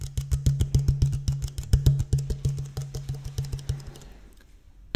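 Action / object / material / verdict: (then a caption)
tap / plastic water bottle / plastic / none. An empty, thin-walled clear plastic water bottle with a blue cap is held upright and tapped with fingertips and nails along its ridged body. Around thirty quick, hollow taps each give a short, low, boomy knock. The taps grow softer and trail off after about four seconds, followed by one sharp final tap.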